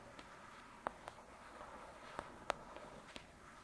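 Long pointed dark red nails tap and scratch on the glossy card front cover of a thick paperback novel, Lady Midnight, lying flat on a fluffy surface. Six quiet, sharp clicks with almost no ring sit over a soft, steady scratching hiss that stays in the mid range, giving a gentle, dry, papery sound.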